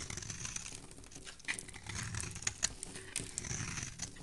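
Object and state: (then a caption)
Soap bar being shaved. A dark metal blade shaves the corner of a solid embossed teal soap bar, producing a quiet, steady, bright crackling and scraping with a faint low rumble underneath. Sharper crisp clicks stand out now and then as crumbly shavings break away.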